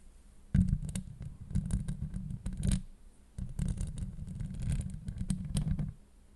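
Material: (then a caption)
Steel mesh. Long acrylic nails scratch across a hollow steel mesh microphone grille in two dense bursts separated by a brief pause near the middle. The scraping is heavy and low, a rumbling crackle with quick ticks and a faint bright hiss above, and it stops abruptly, leaving near-silence.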